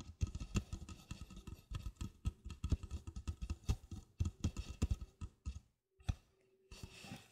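Long black-painted fingernails tap and scratch the side wall, then the base, of an empty, hollow red plastic party cup of about 16 oz, set upside down on a rug beside the microphone, with a wire rack and a second cup untouched nearby. The result is a rapid run of short, dull, low-pitched taps and scratchy clicks that stop dead after each hit. After a brief silence near the end, softer scratching follows.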